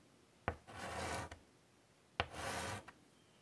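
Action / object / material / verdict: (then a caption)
scrape / chalk on a wooden-framed chalkboard / chalk / none. White chalk is dragged and scratched across the surface of a large wooden-framed chalkboard lying flat to draw lines. Two strokes are heard, each opening with a sharp tap, followed by a broad, bright, raspy scrape of about half a second and a small click as the chalk lifts away.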